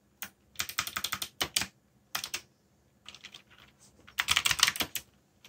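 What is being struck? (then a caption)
Plastic mechanical keyboard. Fingertips tap the keys of a backlit black plastic mechanical keyboard with Korean keycaps in continuous typing. Quick bursts of bright, crisp clicks come with short pauses between them. Each keystroke dies away almost at once, with very little low end.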